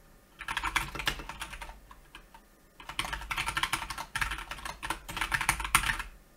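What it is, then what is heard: Plastic mechanical keyboard. Fingertips of both hands type steadily on a Keychron K2 plastic mechanical keyboard with grey and black plastic keycaps resting on a white desk. Quick, bright, clicky keystrokes come in three bursts separated by short pauses, each stroke dying away almost at once.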